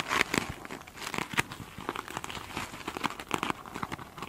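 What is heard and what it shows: Long pointed nails scratch the glittery, bead-coated top of a single soft, solid foam sponge. The result is a steady run of dry, crinkling scratches with quick bright bursts centered around 2 kHz. Each burst stops instantly, with almost no low end.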